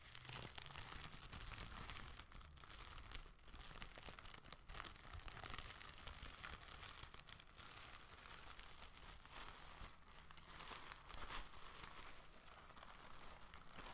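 An empty, thin light-green plastic shopping bag is opened, crinkled, and flicked or shaken out to the side by hand. The result is a steady stream of bright, dry crinkling and rustling with no ring after each crackle, over a soft low rumble throughout.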